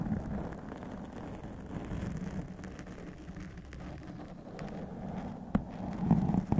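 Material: Foam.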